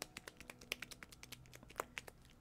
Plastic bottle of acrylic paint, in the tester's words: Can you hear that? My black is all congealed.